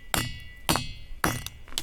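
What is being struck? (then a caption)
Boulder, stone. A boulder on a hillside near Amirgadh, Gujarat, marked where people have struck it before, is hit six times, giving sharp metallic clinks with a bright ringing tone that hangs briefly after each strike. This ringing rock gives a clear metallic sound, though it is not the loudest such rock in the area.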